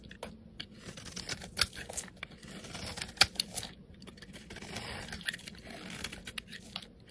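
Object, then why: Bar of soap cut with a metal blade. A metal utility blade shaves thick flakes off a solid, rectangular, hand-sized cream-colored bar of soap held in the hand. The result is a steady run of dry, bright scraping and crisp crunchy cuts with short sharp snaps, and the loudness rises and falls unevenly from stroke to stroke.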